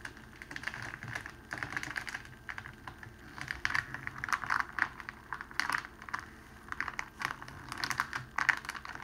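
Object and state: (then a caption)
Cellophane wrapping sheet. Fingertips press along a folded strip of clear cellophane wrapping sheet and pinch the fold, crinkling it. The result is bursts of dry, crackling crinkles, focused in the mid-to-high range with almost no low end. They come in quick clustered flurries with very short decays, over a faint steady background.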